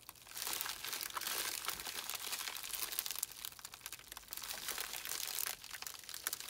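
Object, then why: Plastic bubble mailer. A small white poly bubble mailer, hollow and holding a small item, is squeezed and crumpled by both hands with fingertips and thumbs. A steady, dense crinkling of thin plastic rises and falls in waves, bright and hissy with almost no low end.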